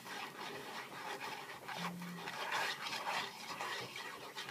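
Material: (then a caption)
Cardboard. A small, hollow Sour Patch Kids cardboard candy box resting on a cutting mat is tapped and scratched with the fingertips and nails of both hands. The result is a steady, dry, raspy scratching and rubbing with soft taps that brighten in bursts, plus a brief low hum near the middle.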